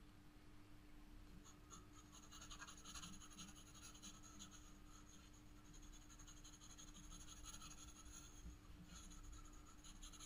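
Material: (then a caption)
Paper. A black pencil hatches shading onto the upper petals of a drawing on a spiral sketchbook page, making steady, repeated scratching strokes across the paper. The quiet, continuous scratch carries bright, high-pitched grain over a low, constant hum underneath.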